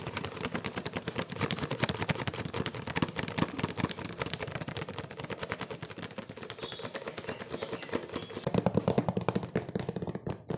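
A medium printed cardboard cookie box, top opened, hollow and mostly empty, is tapped rapidly with fingertips and nails. The result is a dense, continuous stream of short, dry, hollow taps with a low papery thump, carrying on for about eleven seconds.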